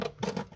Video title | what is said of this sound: Audi A4 1.8T Quattro | this is rotten thin as you can tell very tired